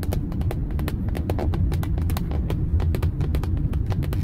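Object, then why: Moulded plastic steering wheel airbag cover. Long acrylic nails rapidly tap a dark moulded plastic airbag cover on a car steering wheel, hollow underneath. The taps are short, dry clicks that die away quickly over a steady low vehicle hum.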